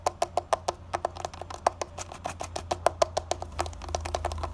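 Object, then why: Concrete window sill. Fingertips and short nails tap and scratch quickly on a rough grey concrete window sill, and the solid sill gives short, dry clicks pitched near 680 Hz that die away almost instantly. The taps come in an uneven, fast run, about three per second, with a faint low hum underneath and a soft scratchy texture growing toward the end.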